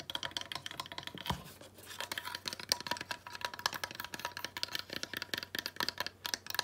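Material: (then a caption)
Wood. Long nails scratch and tap rapidly on a small weathered wooden slat sled decoration with rope as it is held and turned over. The result is a steady stream of sharp, bright clicks and dry scratches, with a faint low hum underneath.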